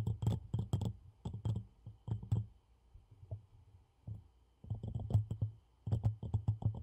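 Fingernails tap the sides of a medium black ceramic coffee mug with a handle and a small printed design, hollow and apparently empty, held in both hands close to the mic. Quick bursts of short, dull, low-pitched taps with faint bright clicky edges come in irregular clusters separated by brief quiet gaps. Each tap dies away almost instantly.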